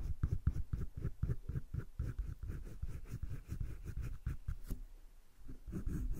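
A green colored pencil shades quick back-and-forth strokes on flat cream drawing paper in a wire-bound sketchbook, then lifts off the paper. The strokes make a steady run of short, dull, low scratching sounds. They ease into a brief quieter stretch near the end before picking up again.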